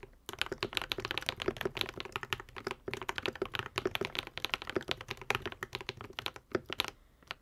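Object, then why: Mechanical keyboard with plastic keycaps. A modded white and pink Epomaker TH80 75% mechanical keyboard with Akko V3 Cream Yellow switches and plastic keycaps is typed on continuously with the fingertips of both hands. A steady stream of short, bright clacks and taps with very quick decay and little low end fills the clip, with a brief pause near the end.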